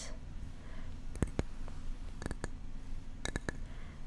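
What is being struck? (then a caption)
Small carved wooden parrot figurine. A small wooden parrot figurine brought back from South America is tapped, producing sharp, dry wooden clicks. The clicks come in three short bursts over a low, steady background hum.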